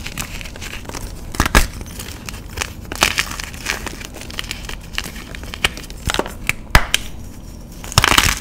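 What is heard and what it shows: A solid white block of magnesium carbonate gym chalk is held in both hands, broken apart and crushed between fingers and thumbs. Dry, crumbly crunching and crackling runs throughout, with sharper snaps as pieces break off and a louder, gritty burst of crumbling at the end.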